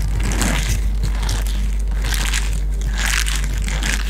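Fingertips and nails squeeze, scratch and rub a small, hollow pink silicone cup close to a microphone, briefly lifting it toward the face partway through. A continuous crinkly, crunching texture comes in bright scratchy bursts over a steady low hum, with no clear pauses between the rubs.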